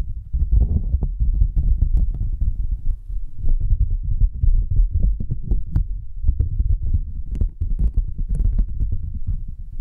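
A thin, flat white cardboard sheet held upright between two microphones is tapped and scratched with long almond-shaped nails and fingertips. It makes a dense, steady stream of deep, muffled thumps and rubbing, heavy in low rumble with only faint brighter clicks here and there.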